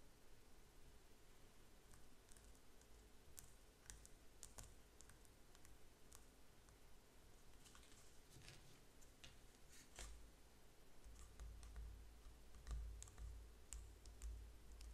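A small painted canvas stretched over a wooden frame, hollow behind and turned to show its bare back, is tapped and scratched with fingertips and nails. Quiet, irregular dry taps and light scratching clicks sound over a low, steady rumble, with brighter ticks scattered throughout. The low rumble grows heavier in the last few seconds.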